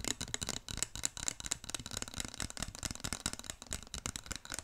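A handheld wooden massage roller stick, with a long thin dark wooden handle topped by a solid stack of light ridged wooden wheels, is held up near the microphone and worked with the fingertips, rolling and rattling its wooden beads. The result is a dense, continuous stream of rapid, dry wooden clicks and clatters with a bright, crisp top and almost no ring after each tap.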